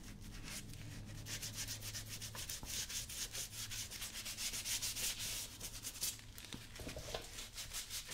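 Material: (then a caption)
Leather. A small blue bristle brush held in the fingers scrubs a worn brown leather lace-up work boot that is being worn on a foot. Quick, bright, scratchy brush strokes rasp back and forth over a low, steady hum throughout.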